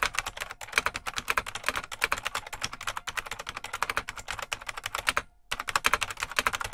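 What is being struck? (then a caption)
Plastic mechanical keyboard. Fingertips of both hands type continuously on a full-size beige plastic IBM Model M mechanical keyboard with a hollow case, producing a fast stream of sharp, bright clicky keystrokes. The typing runs steadily with brief pauses, including a short silent gap near the end before it resumes.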